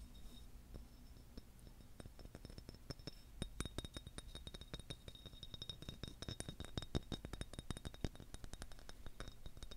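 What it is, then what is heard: Selenite crystal wand. A solid, hand-length wand of long white translucent selenite, held in one hand, is tapped and scratched with long nails while the hand wears metal rings. The result is a quiet, steady stream of rapid, dry clicks and clinks with a faint high, glassy ring and a soft low rumble underneath.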